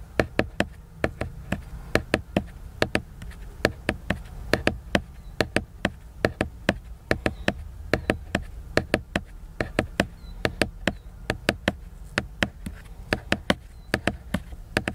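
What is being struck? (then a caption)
Laminated paper book cover. Fingernails tap and scratch the glossy laminated paper cover of a large picture book, making about fifty sharp, dry clicks with a bright, crisp edge and almost no ring. The taps come in uneven bursts over a steady low rumble, with faint scratching between them.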